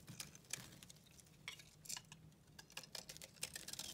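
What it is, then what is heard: Bar of soap being scraped. A solid white bar of soap held in the hand is shaved and scraped with a pink utility knife blade, with flakes coming off. The result is a series of quiet, bright, crisp scraping and crunching strokes, each short and dry with almost no ring, over a faint low hum.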